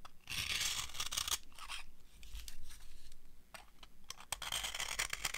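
A solid, dry orange soap bar is carved along its edge with a metal knife. The result is bursts of dry, bright scraping and crunching with sharp crackles, separated by brief quieter pauses.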